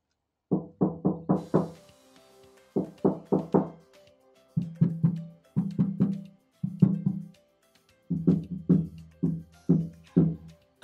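Repeated quick taps on the untreated sheet-metal rear fender panel around the subwoofer area of a Tesla Model 3, before sound deadening, come in several short bursts. Each produces a dull, low, hollow drum-like knock around 180 Hz that dies away almost instantly. The panel sounds hollow and rattles when music plays.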